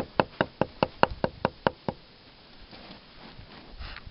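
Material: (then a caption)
Wood. Ten quick, evenly spaced knocks drum on the bark of an oak tree trunk at a crack higher up, giving a hollow, mid-pitched sound over an oak wilt pressure pad crack. Faint rustling follows after the knocks stop.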